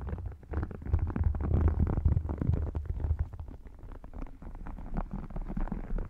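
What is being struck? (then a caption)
Faux croc-textured leather wallet. Fingertips with short dark-painted nails tap and scratch the scaled surface of an open red faux crocodile leather wallet, thin, flat and hollow, lying over the microphone on a lap. The result is a dense run of deep, muffled thumps and rubbing scratches with a boomy low rumble, louder in the first half and settling softer toward the end.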